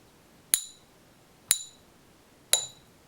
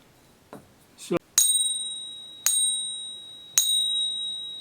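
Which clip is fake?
The first.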